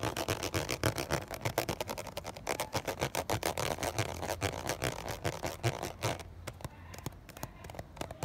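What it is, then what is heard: Plastic water bottle. A fingernail rapidly scratches and taps the ridges of a ridged, clear plastic 500 ml water bottle with water and droplets inside. The result is a fast, irregular run of crisp clicks and scrapes with bright upper detail and a low rumble underneath. The last couple of seconds are quieter and sparser.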